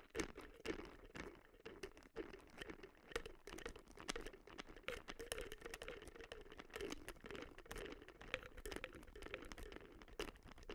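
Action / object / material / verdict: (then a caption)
tap / plastic supplement bottle / plastic / none. Long nails tap quickly across a hollow white plastic supplement bottle with a label, held in both hands. The taps are dense, uneven clicks with a hollow mid-range tone and almost no ring after each hit, running steadily throughout.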